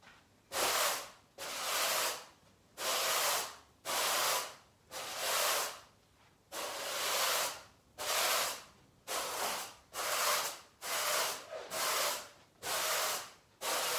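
A long-handled, stiff-bristled garden brush sweeps a large brown pile carpet scattered with debris, its bristles scratching and rubbing the surface. Twelve broad, bright, scratchy swishes follow one another at a steady but uneven pace, each rising and fading with brief quiet gaps between strokes.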